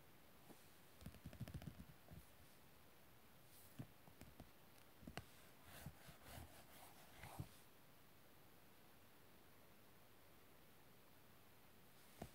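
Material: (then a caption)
Cardboard. Fingertips and nails tap and scratch the shiny laminated, glossy cardboard cover of the red paperback book "Gjurmë Gjaku," which lies flat and closed. Quiet, dull taps and soft scratchy rustles come in bursts through the first seven and a half seconds, followed by near silence with a faint tap at the very end.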